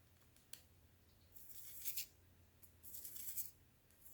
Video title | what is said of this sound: ASMR - Easter Cookies 🩷🐣💚 - Soft Spoken, Lofi, Tapping, Scratching | my royal icing recipe does dry down really nicely. And so it is kind of like a solid icing on top